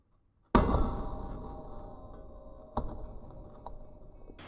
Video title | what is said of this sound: 조직을 검사하지 않고 소변만으로 암 발병의 유무를 진단할 수 있다 | 망치로 내려치는 수준의 힘을 가진 500g 에 쇠구슬을 끝까지 견뎌 냅니다